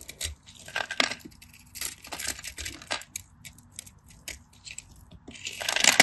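A craft knife cuts through the scored grid of a solid cream bar of dry soap held in the hand, scratching and cutting as chunks crumble off. Dry, bright crunching and crackling comes in short bursts with no ring. The crumbling swells louder at the end.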